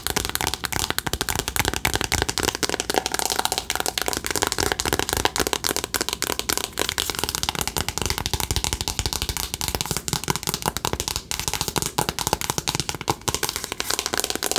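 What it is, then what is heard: Cardboard eyeshadow palette. A flat, rectangular cardboard eyeshadow palette, a colorful "Remember Me" box about the size of a book and hollow with pans inside, is held in both hands and tapped quickly with long acrylic nails. The result is a steady, dense stream of fast, dry, bright clicking taps that die away almost instantly, continuing evenly for about fifteen seconds.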